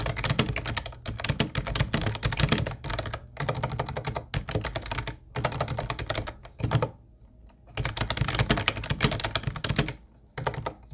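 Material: Plastic.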